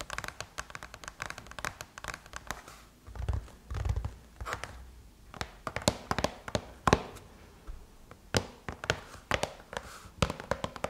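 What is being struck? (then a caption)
Closed aluminum laptop lid tapped with fingernails. Long chrome-painted nails tap and scratch across the closed silver aluminum MacBook lid. The result is a rapid, uneven run of sharp, bright clicks, with a few duller low thumps and soft scratching passages between them. Each tap dies away almost instantly.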